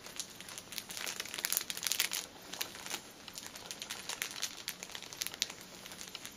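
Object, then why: Plastic-film-wrapped pack of paper tissues. Long painted nails tap and scratch on top of a plastic-film-wrapped stack of paper pocket tissue packets resting on a table. The result is continuous bright crinkling with dense rapid clicks and brief louder bursts.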